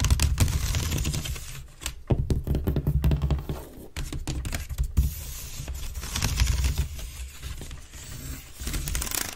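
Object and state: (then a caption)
Wicker basket bin. Long nails scratch fast across the side weave of a grey woven wicker waste bin lying on its side, hollow and empty. The rapid, dense, crackly scratching comes in uneven bursts that rise and fade, with a bright rasp on top and a strong low hum underneath.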